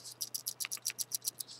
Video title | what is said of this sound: Kamry K200 Review and Giveaway! | that thread is really good as you can probably hear if I shake it